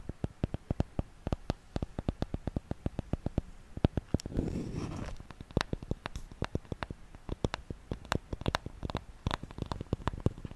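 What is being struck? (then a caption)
Wooden paddle hairbrush. Long nails tap and scratch the body of a solid wooden paddle hairbrush with bristles at one end, making a rapid string of short, dry, low clicks. Midway the tapping gives way to a brief rough scratching burst, then the quick tapping resumes.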